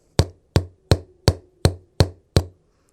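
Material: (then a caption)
Paper cone. Seven light finger flicks on the woofer cone of a Sony SS-CS5 bookshelf speaker, each giving a short, low, tubby thump centered near 94 Hz instead of a dead tap. The cone has an unwanted resonance, possibly from the cone itself or from port noise.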